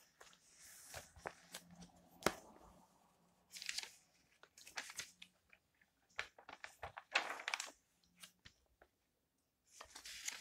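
An open, thin magazine with glossy coated paper pages is held in the hands while fingertips turn and brush the pages, making them rustle. Quiet, bright crinkling swishes and soft crisp flicks come in short bursts separated by near-silent pauses.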